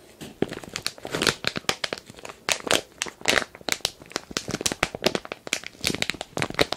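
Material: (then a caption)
Plastic. A medium glossy printed plastic toy-sand package (Areia Divertida) filled with kinetic sand is held in both hands and crinkled and rubbed with the fingertips. The result is a dense run of sharp, bright crinkles and crackles with little low end.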